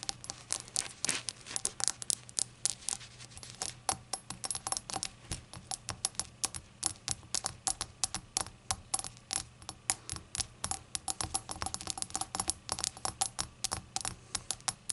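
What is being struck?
Small glazed ceramic shot glass.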